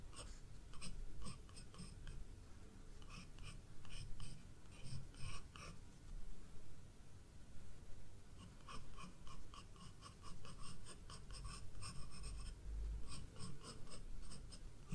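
A wooden graphite pencil, held upright, makes short scratching strokes on a page of a spiral-bound paper sketchbook resting on a wooden desk, drawing small flower details. Quiet bursts of bright, dry scratching come in irregular clusters with brief pauses between them, over a faint low rumble.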